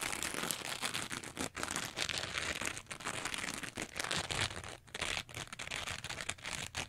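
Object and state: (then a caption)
Foam sponge being scratched and squeezed. A small, soft, porous teal foam sponge with a bumpy textured surface is held in both hands, squeezed and scratched with long nails and fingertips. The result is a dense, bright, crinkly scratching noise that runs almost continuously, broken by a few brief pauses.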